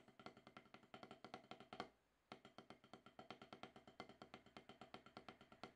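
Wooden drumsticks tap rapid, steady strokes on a solid octagonal HQ rubber-top snare practice pad, played to knock off more than ten years of rust. The taps are short, dry and woody, with a mid-pitched knock around 740 Hz and almost no ring. A brief silence falls near the two-second mark before the even sticking resumes.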